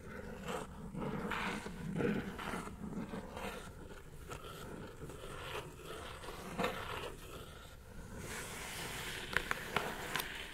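Long nails scratch and tap the top of a hollow brown kraft cardboard mailer box lying flat on a table. Dry, rustling scrapes come in uneven bursts, and a run of sharp, bright taps stands out near the end.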